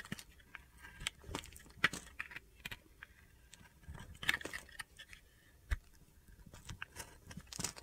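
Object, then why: Soap bar cut with a metal blade. A solid white bar of soap with orange and yellow edges is held in the hand while a metal utility knife blade slices and scrapes thin pieces off it. The sound is a series of quiet, crisp, crunchy scrapes and bright, short ticks with brief pauses between cuts.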